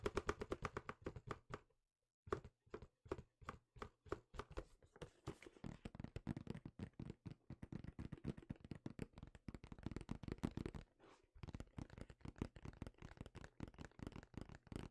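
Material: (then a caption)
Cardboard. Fingertips tap and scratch a medium, hollow, yellow and black printed cardboard retail box held in the hands. Rapid, soft, dull thuds with a low, boxy resonance come in quick runs, with faint scratchy texture between them. Brief pauses come near two seconds and again around eleven seconds.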